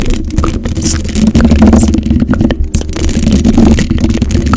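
Long acrylic nails on both hands scratch across a hollow black metal mesh microphone grille. The result is a dense, continuous scratching and rasping with a heavy low rumble and a steady hum near 207 Hz, sprinkled with brief brighter clicks. It runs at a fairly even level for about four and a half seconds.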